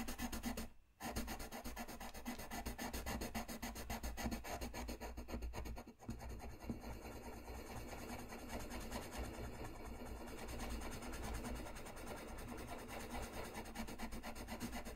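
A dark colored pencil rubs and scratches across a flat white paper sheet in continuous coloring strokes. A steady, rapid, dry scratchy rasp runs throughout over a low hum, with brief pauses near one second and six seconds before the strokes resume.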